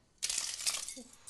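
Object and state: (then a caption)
Brittle frozen leaf shattering. A plant leaf frozen in liquid air shatters into several pieces. After a brief quiet moment comes a sudden, bright, glass-like crackling and breaking that lasts about a second, with a short lower chirp near the end and a final flare of crackle. The break confirms that the cold has made the leaf brittle.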